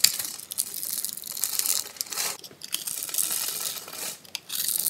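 A metal blade scrapes and cuts through the gridded surface of a solid, palm-sized pink bar of soap held in the hand, knocking crunchy pink cubes loose. The sound is a bright, dry, crackling crunch in quick bursts, with brief quieter gaps between strokes and no low-end weight. The cubes crumble off with fine, gritty crackles.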